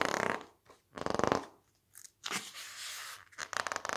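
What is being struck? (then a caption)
Softcover book with thick glossy pages. Fingertips press, squeeze and turn the thick, glossy blue pages of an open softcover magazine book. Short bursts of crackly, rasping paper texture alternate with near-silent gaps, and a longer bright, hissy sweep of a page turning stretches through the middle.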